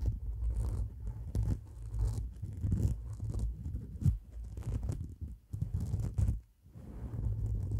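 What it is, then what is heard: Faux fur microphone windscreen. Long black nails scratch quickly into the fibers of a white, shaggy synthetic faux fur windscreen on a microphone, working from both sides. The result is a dense, muffled, low rumbling scratch with almost no high end, swelling and dipping in level with a few brief near-silent gaps.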